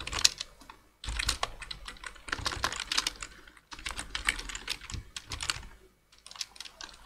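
Two hands type with fingertips on a black plastic full-size computer keyboard, producing rapid, bright, crisp key taps with very little low end. The typing comes in bursts separated by short pauses, each tap clicking and stopping almost instantly.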